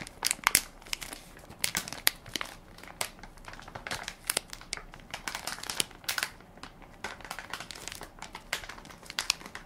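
A hand-sized Equate baby wipes soft pack made of crinkly plastic film, full of wipes and held in one palm, is pressed and crinkled by fingertips and nails. Quick, bright, crackly crinkles come in irregular bursts with almost no low end. Each crackle snaps off sharply between quieter rustling.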